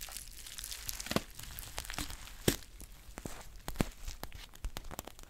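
A green metallic foil tea pouch is squeezed and crinkled while its label is scratched with long painted nails. Dense, bright crinkling and scratching is broken by a few sharper crackles that stand out above the steady rustle.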